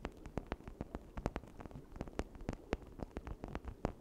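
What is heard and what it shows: A red hollow plastic toy brain, held in both hands beside a misting cauldron, is scratched and tapped with long nails across its ridged surface. A quick, uneven series of short, dry clicks and taps rises over a soft low rumble, each hit dying away almost instantly.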